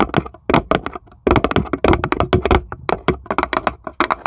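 Long pointed acrylic nails on both hands tap rapidly on the flat base of a small, light, empty plywood serving tray with cut-out handles, hollow underneath, while a small marble sits still in the corner. The taps come in quick, uneven bursts with brief pauses, each a short, dry, hollow click with a low woody thump and almost no ring.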